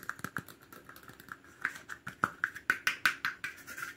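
Rapid tapping and scratching on a plastic cap as an ASMR trigger gives about sixteen quick, dry clicks with a hollow tone around 1.5 kHz. Each tap dies away almost at once, and light scratchy rustle fills the gaps. The taps grow louder and sharper toward the middle and end before easing off.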